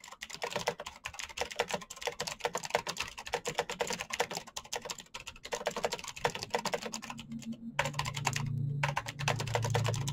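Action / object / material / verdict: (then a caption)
tap / plastic mechanical keyboard / plastic / none. Fingertips type quickly on a black plastic mechanical keyboard with backlit keycaps, producing a rapid, steady stream of sharp, bright clicking taps. In the last few seconds a low, steady hum rises beneath the typing.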